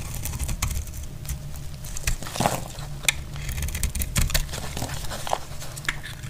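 A metal utility knife blade scrapes and cuts into a solid, dry, dark brown bar of soap held in the hand, producing brittle shavings. Crisp scratching and sharp, bright cracking clicks repeat over a steady low rumble in the background.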